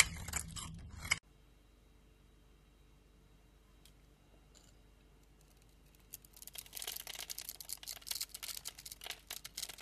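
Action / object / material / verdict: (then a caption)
scrape / bar of soap / soap / none. A utility blade cuts small cubes off a solid, oval lilac bar of soap with a grid-scored surface, held in the hand. A loud, bright crunching burst opens the clip and stops abruptly, followed by a near-silent pause. A rapid, uneven run of crisp, high-pitched crackles and snaps then follows as the cubes break away.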